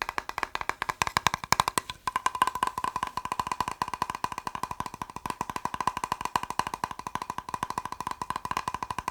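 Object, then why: Plastic box. A plastic box is tapped quickly with fingertips in a rapid, continuous run of short, dry clicks. The taps have a hollow tone centered around 1 kHz that dies away almost instantly. There is a brief pause near the two-second mark before the fast tapping resumes steadily.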